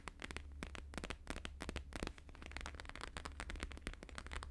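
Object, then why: Laminated paper sheet. Fingertips and nails fast-tap and scratch a thin, flat laminated holographic paper sheet, making a rapid, dense run of sharp crackly clicks with bright scratchy edges. A steady low hum runs underneath the whole time.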